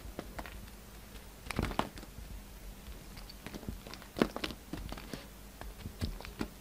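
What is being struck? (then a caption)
Bar of soap cut with a knife blade. A solid pink bar of soap with a white edge, held in the hand, is carved with a yellow utility knife. The cutting and scraping make quiet, dry crunches and crinkly scrapes with short, sharp clicks that die away at once, with louder bursts near 1.7 and 4.2 seconds.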